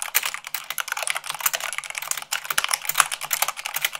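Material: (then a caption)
Plastic. Fast typing with fingertips and long nails on a mechanical keyboard with white plastic keycaps on a black base. A rapid, dense stream of short, bright plastic clicks and clacks runs steadily with almost no low end and very quick decay.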